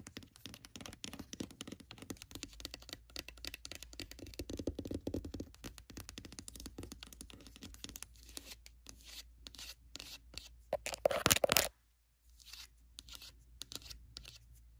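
Long pointed red nails tap fast on the top of a closed, hollow, dark grey oval hard-shell glasses case covered in faux leather. The result is a dense stream of quick, dry, bright clicks and light scratchy taps. Near the end comes a louder burst, a brief silence, then sparser taps.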